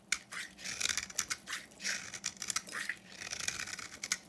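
A solid yellow bar of soap with copper paint, held in the hand, is shaved with a utility knife into dry, crumbly flakes. Each stroke makes a crisp, bright scraping rasp with almost no low end, repeated in quick, uneven bursts. The cuts stop dead without ringing.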